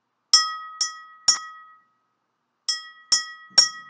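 A red drinking glass, filled with the most water after being topped up, is tapped six times in two groups of three. Each tap gives a bright glassy clink with a sustained ringing tone around 1.2–2 kHz. The fullest glass produces the deepest sound of the set.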